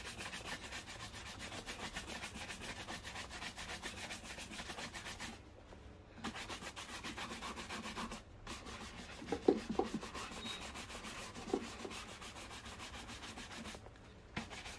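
A wooden-backed bristle brush is rubbed fast back and forth along the upper of a black leather slip-on shoe to buff it. The shoe is worn on a foot resting on a blue plastic stool, and the other hand steadies it. The result is a steady, bright, scratchy rubbing that stops briefly a few times, with a few sharper knocks near the end.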